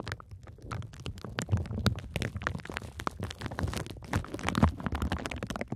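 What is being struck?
Plastic bubble wrap sheet.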